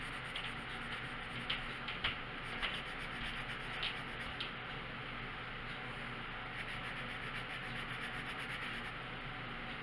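A red wooden colored pencil is rubbed back and forth over a thin paper page of a coloring book lying flat on a wooden table, coloring in a stop sign. The result is continuous, scratchy, hiss-like rubbing, with a few slightly louder strokes standing out.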